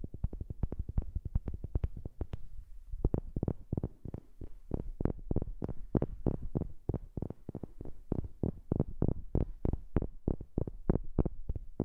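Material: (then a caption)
Wood. Tapping on a wooden object is recorded up close with a new microphone. A quick, somewhat uneven run of short, dull, low knocks comes in a dense flurry for the first few seconds, then continues at a slightly more spaced pace. Each tap dies away almost instantly with no ring.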